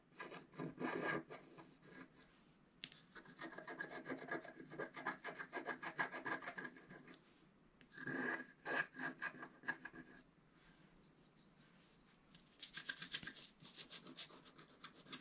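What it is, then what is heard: Scratch art card being scratched. A wooden stylus rubs and scratches a flat scratch art card (black-coated paper over metallic foil) in repeated strokes while the other hand holds the sheet. It makes dry, raspy scratching with a faint squeaky tone near 1.6 kHz, coming in bursts with a short pause near 2.5 seconds and a longer quiet stretch from about 10 to 12.5 seconds before the strokes resume more brightly.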